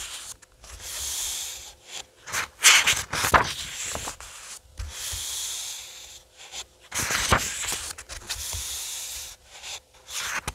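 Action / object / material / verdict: scrape / paperback book with glossy paper pages / paper / none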